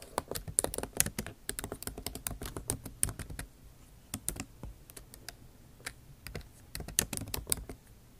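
Fast typing with long nail tips on a backlit MacBook Pro keyboard with plastic keycaps set in an aluminum body. Rapid, sharp, bright clicks and taps come in dense bursts with very short decay. The typing thins to scattered taps in the middle before picking up again near the end.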